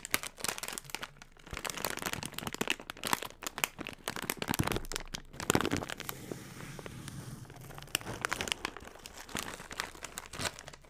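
A yellow metallized plastic foil snack chip bag, hollow and flexible, is crumpled, crinkled and rubbed with both hands' fingertips close to the mic. Dense, bright crackling and crinkling fill the clip, with a softer, smoother rustling stretch around the middle before the sharp crinkles return.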